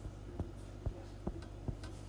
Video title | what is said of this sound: Oatmeal Bread | Sounds hollow. That's how you know it's done.